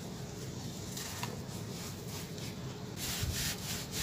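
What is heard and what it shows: Bare hands crumble and rub dry, loose gray sand-cement clumps, crushing the granular material between the fingers and letting the grit pour into a pile inside a large red plastic tub. A steady, gritty rubbing and crunching runs throughout over a low rumble, growing louder with bright, hissing bursts of pouring grit in the final second.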